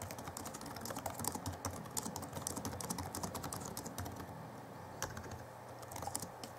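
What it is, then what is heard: Plastic laptop keyboard being typed on. Both hands type rapidly with their fingertips on the backlit chiclet keyboard of a 2011 Alienware M11x laptop (M11x2) with plastic keys. It produces a dense, continuous stream of light, bright plastic clicks and taps over a faint, steady low hum.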